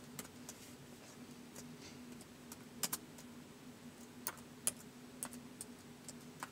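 Fingertips slowly type on the plastic keys of a white polycarbonate laptop resting on carpet. About 13 short, bright, crisp clicks are spaced irregularly across the clip, with a few louder taps standing out. A quiet, steady low hum runs underneath throughout.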